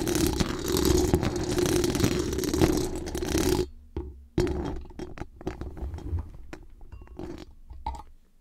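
Very long acrylic nails rapidly scratch and tap the hollow metal mesh dome grille of a large condenser microphone with a decorated body. A dense, boomy, rasping scratch runs steadily for about three and a half seconds with a humming midrange tone, then drops out briefly. It resumes as looser scratches and sharp taps that gradually fade away.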